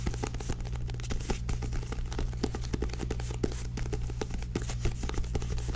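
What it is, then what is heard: Paperback book with card cover, tapped and scratched. Long nails tap and scratch the purple-bordered glossy card cover and spine of a small paperback book held upright. The result is a rapid, irregular run of short, dry clicks and scratchy swipes over a steady low hum.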